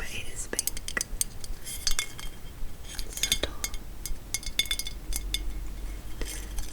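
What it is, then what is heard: Glass Christmas bauble. A textured, clear pink glass Christmas bauble is handled and tapped, giving many short, bright clinks and light glassy taps with faint handling rustle between them.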